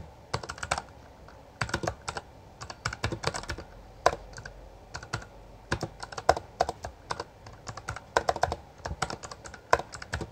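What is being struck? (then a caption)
Mechanical keyboard with plastic keycaps. A full-size backlit Bloody B820R mechanical keyboard with plastic keycaps is typed on with the fingertips of both hands. Its sharp, short clicks come in quick bursts separated by brief pauses, with a bright edge and almost no ring after each keystroke.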